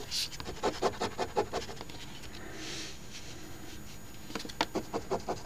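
The edge of a coin, pinched in the fingertips, scrapes the scratch-off coating of a flat paper OLG Ontario Lottery $10 Crossword Deluxe instant ticket (#3354) lying on a table and held down by the other hand. Short, dry scratching strokes come in a quick, uneven run, then pause for a soft, airy rub, then pick up again with another flurry of scrapes.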